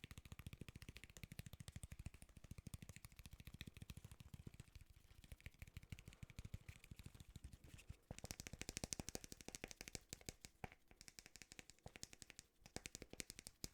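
A small one-pound artificial Ikea plant from a shelf, with a real-feeling bulb, paper-like leaves and fake soil, is tapped and handled. It makes a fast, steady stream of short, dry clicks and rattles with a low thump, growing brighter and crisper about halfway through.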